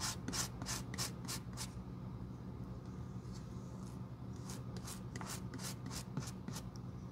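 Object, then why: Leather sandal sole. A glue brush sweeps glue across the thick, solid leather sole of a sandal held in the hand. Quick, bright bristly swishes come in two runs of strokes with a quieter, softer stretch between them. A steady low hum sits underneath throughout.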